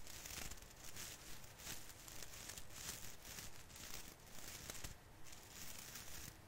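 Both hands pinch and rub a branch of a small artificial fir Christmas tree with plastic needles, crinkling it. A continuous, quiet crackling rustle pulses unevenly in soft swells, with bright, high crinkle texture over a low, dull rumble.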